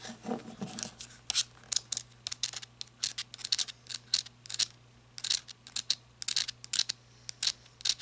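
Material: Rubber.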